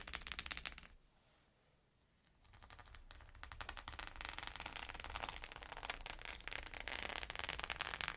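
Long nails tap rapidly on a flat rainbow sequin fabric pouch, making a dense, bright clicking and crackling patter. The tapping fades to near silence around the first second, then builds back up and grows busier and louder through the rest of the clip.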